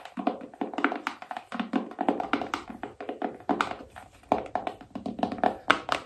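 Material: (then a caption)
Cardboard. A small, hollow black cardboard iPhone box with a phone print is held in both hands while long nails tap quickly across its lid and back. The taps are short, dry and hollow-sounding, sitting in the midrange with little low end, and each dies away almost at once. They come in uneven bursts throughout.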